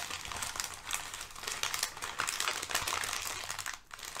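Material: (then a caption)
Paper. Thin brown kraft packing paper lying on a rug is pressed flat with fingertips, then lifted and crinkled. A dense, continuous run of bright, dry crackles and rustles fills the clip, with only a brief dip near the end.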